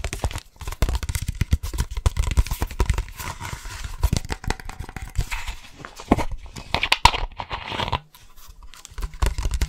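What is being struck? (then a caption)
Energy drink bottle. Fast, aggressive tapping on an energy drink bottle produces a dense stream of quick, dry, low-heavy taps with crinkly, rustling edges and almost no ring. The tapping briefly drops out near the eight-second mark before resuming.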